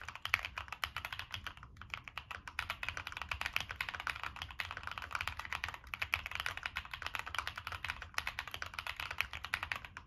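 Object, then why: Mechanical keyboard, aluminium case, plastic keycaps. Fingertips type continuously on a Monsgeek M1 mechanical keyboard with a black aluminum case, purple and black plastic keycaps, NK Cream switches and a POM plate. A rapid, steady stream of short, crisp clacks sounds bright in tone, centered around 2.3 kHz, and each keystroke stops almost instantly. A faint low rumble sits underneath.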